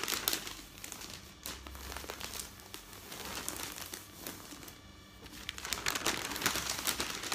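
Fingertips rub across thin newsprint newspaper sheets resting on a bed, then pick up and fold the pages. The result is a soft, continuous crinkling rustle that is bright and high-heavy, with louder crackly bursts near the start and again toward the end.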